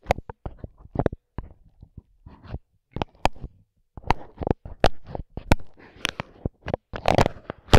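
A microphone with its grille removed, its dark capsule covered in clear plastic film, is tapped and rubbed with the blunt end of a wooden skewer held in a gloved hand. An irregular run of sharp, close taps with short bright clicks mixes with soft crinkly rubbing. The sound is thick and bass-heavy, each tap dying almost instantly.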